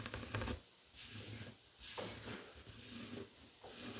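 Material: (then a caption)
Woven fabric. Fingertips and short nails scratch across a flat, heart-shaped woven tapestry fabric coaster lying on a wooden table. The result is a series of soft, rough, bright scratching strokes, each rising and fading over a low, dull rustle, with quiet gaps between them.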